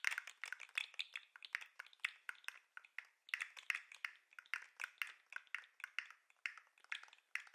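A hand-sized, hollow-looking 3D-printed plastic lobster fidget toy with green and white jointed segments is held up by its claws and shaken, so the segments swing and click against each other. The result is a rapid, steady stream of dry, bright clicks with almost no low end, each dying away almost instantly.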